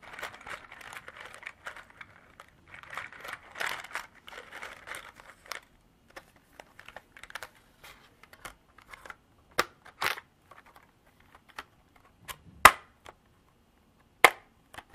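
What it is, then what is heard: Plastic container with small beads. Long black nails tap and scratch the walls of a small clear hard-plastic clamshell container partly filled with small cream beads. It opens with a dense, crinkly patter of quick clicks, then thins into scattered sharp, dry taps, a few of them louder and brighter than the rest. Each tap dies away almost at once.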